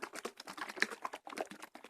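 A new-pack carton of coconut milk, unrefrigerated and straight off the shelf, is shaken back and forth. It makes a quick series of light, watery sloshing bursts. The thin, watery slosh shows the milk is thin with little cream.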